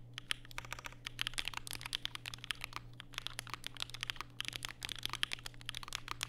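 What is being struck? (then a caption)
Mechanical keyboard with plastic keycaps. Fingertips type continuously on a compact black Vega mechanical keyboard with plastic keycaps and Durock POM switches, set on a desk mat with a white wrist rest. Rapid, bright, sharp clacks overlap in quick succession over a steady low hum.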